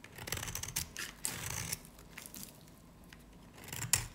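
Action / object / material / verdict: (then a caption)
scrape / varnished soap bar cut with a knife blade / soap / none. A snap-off knife blade carves a solid, dry, varnished yellow-green soap bar held in the hand. It gives crisp, bright scraping and crackling cuts in quick bursts, with a sharp final snap near the end.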